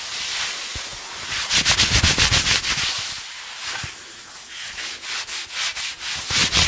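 Fingertips and short nails scratch and rub blue cotton denim jeans worn over a raised knee and thigh, right in front of the microphone. A bright, dry scraping hiss starts steady, then breaks into quicker, louder rhythmic strokes with a few soft low thumps.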